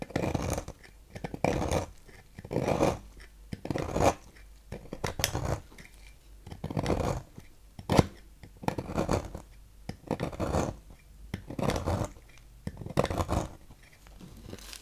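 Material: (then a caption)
Soap. A thin metal knife carves thin shavings from a solid light-blue bar of Fax soap held in the fingers, the shavings piling up on a table. Short, dry scraping strokes come in irregular bursts, each a muffled rasp mostly in the low and middle range with little brightness, separated by brief quiet pauses.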